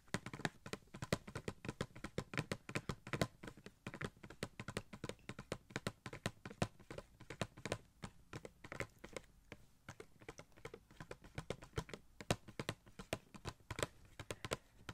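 Fingertips tap rapidly and continuously on a small, hollow cardboard Gold Shuri Funko Pop box with a clear plastic window and the figure inside. The taps are short, dry and hollow, with a soft low thump and a bit of bright click, dying away almost instantly. They fall in quick, uneven bursts over a faint steady low hum.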